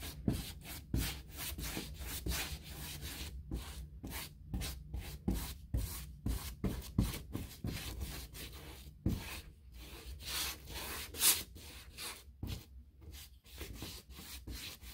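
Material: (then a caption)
Hardboard. A hand-held bristle paintbrush rubs wet paint along the raised panel edges of a large white six-panel interior door made of painted molded hardboard, likely a hollow-core molded composite. Repeated scratchy, brushy strokes come in quick bursts with bright hiss, over a steady low hum.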